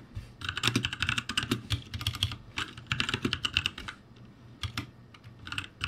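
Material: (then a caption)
Plastic. Fingertips type on a backlit ROCCAT G65 mechanical keyboard with plastic keycaps, producing bursts of rapid, bright clacking keystrokes over a low thocking body. Short pauses separate the flurries of typing, and each keystroke stops crisply with almost no ring.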